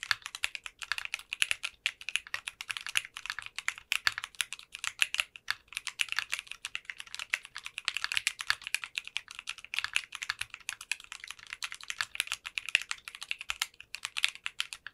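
Continuous typing with both hands' fingertips on a 60% custom mechanical keyboard fitted with translucent pink polycarbonate keycaps. It produces a rapid, steady stream of sharp, bright clacks centered around 2.7 kHz, with almost no low end. Each keystroke cuts off almost instantly, with no ring.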